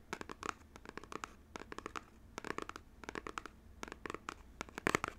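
Fingernails tap and scratch the faces of a small, hollow, printed cardboard box for Nintendo Switch controllers, held close in front of the mic. Quick, dry, bright taps and scratchy strokes come in irregular clusters with almost no ring-out. The loudest burst comes near the end.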